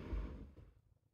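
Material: Nothing is struck.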